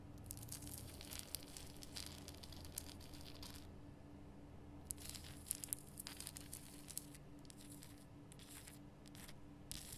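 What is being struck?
Rock salt lamp.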